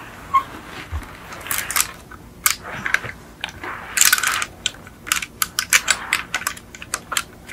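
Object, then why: Small die-cast metal toy car tapped with fingernails. Long acrylic nails tap on the doors and roof of a small yellow die-cast Beetle model car with a hollow, painted metal body. The result is an irregular run of sharp, bright clicks and light metallic ticks, each dying away quickly, with little low end beneath them.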